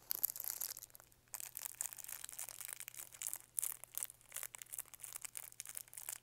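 Fingertips crinkle and rub the thin plastic wrapper on a small green lollipop with a white stick, held close. Soft, dense, bright crackling comes in quick bursts with a short pause near the start, over a faint steady low hum.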